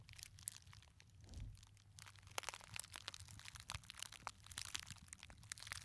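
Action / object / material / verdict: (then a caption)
scrape / glitter fabric clutch purse with metal frame clasp / glitter fabric / none. A small, hollow gold glitter fabric clutch purse with a metal frame clasp is squeezed, crumpled and scratched with fingertips in front of the microphones. A dense stream of quiet, bright crinkling and sharp crackles plays over a soft low rumble, with brief louder snaps scattered throughout.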